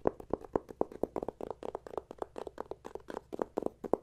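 A closed, flat, thin red plastic e-reader cover lying on a wooden table is tapped and scratched with fingertips and nails. About 26 short, dry, hollow taps come in a quick, uneven rhythm, mixed with faint scratching between them. Each tap stops almost at once, with no ring.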